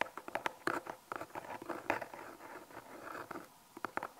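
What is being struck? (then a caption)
Small cardboard box. A small, hollow brown cardboard product box with unseen contents, held in both hands, is tapped and scratched with long painted fingernails. The result is a quiet run of quick, dry, papery taps with a midrange knock near 880 Hz, blurring into a soft scratchy patter in the middle before a few sharper taps at the end.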